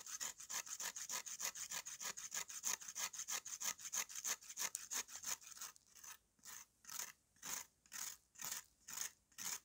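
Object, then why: Dried red clay slab. A steel knife blade is scraped back and forth over the rough surface of a flat, solid slab of dried red clay held in the hand. Quick, dense, bright rasping strokes come first, then slow to longer, more spaced-out scrapes with quiet gaps between them.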